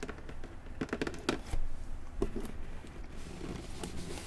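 Taps on a cardboard box that held a Minecraft gaming pad make a series of soft, dull knocks with very short decay, heard against a quiet room background. The taps are irregular, with a few slightly louder knocks among the softer ones.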